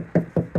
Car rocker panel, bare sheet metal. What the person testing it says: you hear how that sounds Hollow right there